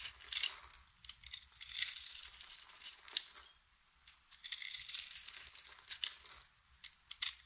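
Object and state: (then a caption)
Dry soap bar being cut. A utility knife blade scrapes and cuts flakes and cubes off the surface of a round, solid, hand-sized white bar of dry soap held in one hand. It makes dry, bright, crinkling crunches and scrapes in bursts, separated by brief quiet pauses.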